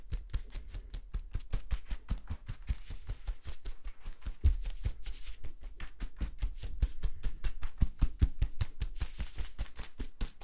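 Fingertips rapidly tap and scratch the folded ridges of a hollow yellow corrugated plastic tube that has been compressed short. The result is a quick, uneven stream of short, dry taps with a low hollow thump and faint scratchy texture that stop almost instantly.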